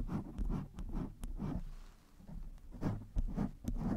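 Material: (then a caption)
Foam. Long white-tipped nails of both hands scratch and rub a soft blue foam windscreen that sits hollow over the capsule of a black USB microphone. The result is a series of dull, muffled, low-heavy scratching bursts, repeating roughly twice a second in an uneven rhythm, with brief rustly peaks that fade almost at once.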